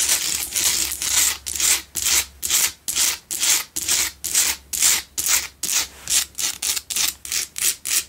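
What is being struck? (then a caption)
Salt block candle holder. Long nails scratch the sides and front of a lit, solid pink Himalayan salt block double candle holder. Around two dozen quick, rough scraping strokes come in a fast, fairly steady rhythm, each a bright, gritty hiss that stops almost at once, over a faint low hum.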